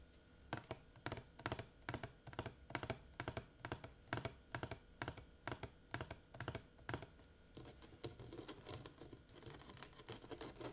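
Fingertips and painted nails tap a large blue hollow plastic water jug with a metal cap, partly filled with water and held in the lap. The taps are quick, dry clicks over a low hollow thump, coming at an uneven pace. In the last few seconds they give way to softer, denser scratchy tapping.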